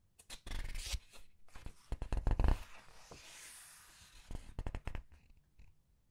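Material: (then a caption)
Paper. Red-nailed hands rub and turn the glossy paper pages of a large open paperback art book one after another. Soft papery rustles and crisp swishes come with dull low thumps as the pages are handled, then a longer airy slide as a page sweeps over before a few more quick rustles fade to quiet.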